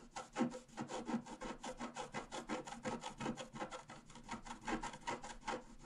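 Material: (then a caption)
Coated paper. A wooden stylus point is scratched across a flat A4-size scratch-art sheet, black coating over a rainbow layer, lying on a table while the other hand holds the sheet. A quiet, rapid, slightly irregular series of short, dry, raspy scratching strokes with bright hiss and no ring.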